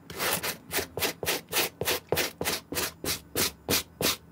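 A white plastic-bristle suede brush is stroked repeatedly across the upper of a clean, dry green suede Nike SB Air sneaker with a gum sole, held in the hand. Each stroke makes a short, bright, airy scrubbing rasp, with steady back-and-forth strokes separated by brief pauses.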